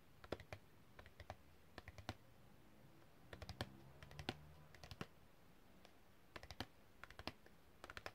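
Long red-painted fingernails tap and click on a long, thin, flat printed cardboard packaging card with a hang hole, held flat. The result is quick bursts of short, dry, sharp clicks in scattered clusters, with bright tips and almost no ring, over a quiet low background hum.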